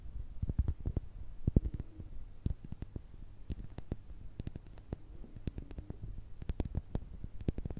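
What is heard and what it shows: A palm-sized, solid, porous light-grey pumice stone is tapped and scratched with long red nails, held close to the microphones. A steady stream of quick, dull, bass-heavy clicks and taps dies away almost instantly, with faint scratchy rustling between them.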